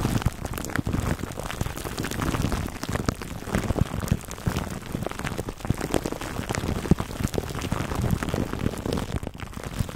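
Fingertips and short nails scratch clear cling film wrapped over a black foam microphone windscreen. The result is a steady, dense stream of close crinkling and rustling that sounds heavy and bassy, broken by small sharp crackles that stop instantly, sounding much like rain on a surface.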